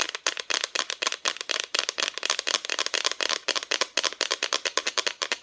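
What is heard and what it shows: Long nails tap quickly on a flat, thin, solid cut-out plywood Christmas decoration with a painted front. About thirty-three short, dry, bright clicks come in an uneven, fast rhythm, each dying away almost instantly with no low thump.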